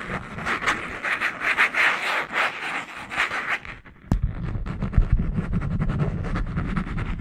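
Long nails scratch along the green cover and paper edges of a small spiral notebook, producing rapid, dry rubbing strokes. The first half is a brighter, hissy scratching; after a brief lull and a sharp click, the strokes turn lower and thumpier, with more rumble underneath.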